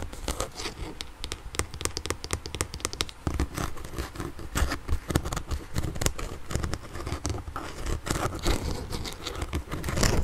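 Fingertips and nails tap and scratch the ribbed surface of a blue and yellow hard plastic shell from a kid's inline skate, a hollow boot with a mesh lining and a velcro strap. Close, rapid, irregular plastic taps and crinkly scratching run throughout, with dull low thumps under bright, dry clicks that die away instantly.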